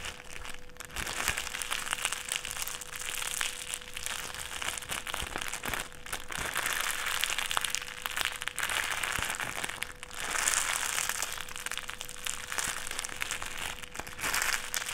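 A small folded wad of clear plastic sheet is squeezed and crinkled between the fingertips, making a dense, continuous stream of bright, crackly crinkles for the whole clip. The texture swells louder around the middle and again near the end, with a faint steady low tone underneath.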